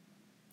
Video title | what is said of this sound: French bread shapes | we're looking to hear that hollow sound